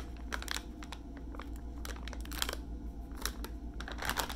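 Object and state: Plastic wipes pack with flip lid.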